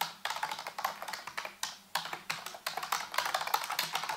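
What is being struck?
Plastic computer keyboard.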